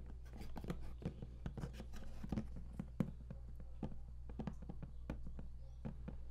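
Fingertips tap and knock on the lid of a large, flat cardboard game collector's box, closed and hollow. A quick, uneven run of short, dull, hollow taps sounds over a steady low hum. Each tap dies away almost at once.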